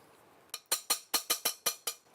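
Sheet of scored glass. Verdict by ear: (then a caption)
Cracked. A piece of scored stained glass for a chapel rosette window is tapped on its underside, giving nine sharp, bright, tinny clicks with very short ring. The tapping runs the crack along the score line, and the piece breaks off cleanly along it.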